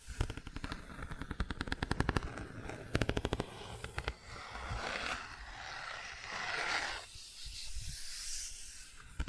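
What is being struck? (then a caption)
Cardboard board book page with textured patch. Long nails tap and scratch across the textured car patch on the open bicycle and car pages of a cardboard board book. Rapid, dry clicking taps come in fast bursts for the first few seconds, then give way to softer, hissy scratching strokes that grow brighter toward the end.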